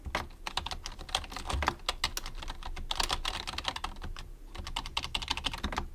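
A white plastic computer keyboard is typed on fast with the fingertips of both hands. The result is a dense, steady run of short, sharp, bright clicks, each with a soft low thump underneath. The clicks stop quickly, with almost no ring.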